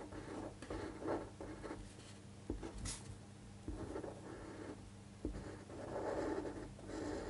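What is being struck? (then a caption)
Fine-point pen on a paper sheet. A fine-point pen scratches across a thin white paper sheet lying flat on a table while tracing cursive words. Soft, papery scratching strokes come in bursts with brief pauses, with a few sharper taps of the pen in between, over a faint low hum.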